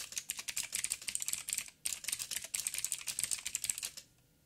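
Fingertips type rapidly with both hands on a backlit 87-key mechanical keyboard with plastic keycaps and clicky blue switches on a metal plate. The result is a dense stream of sharp, bright clicks with very short decay and almost no low end, broken by a brief pause near the two-second mark. The typing stops at about four seconds, leaving near silence.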